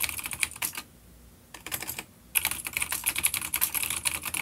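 Fingertips of both hands rapidly tap the keys of a full-size dark grey plastic vintage mechanical keyboard with grey and dark keycaps and vintage clicky blue switches, an older B-grade unit resting on a wooden desk. Bright, sharp clicks come in quick bursts with two short pauses between them, each click dying away almost instantly.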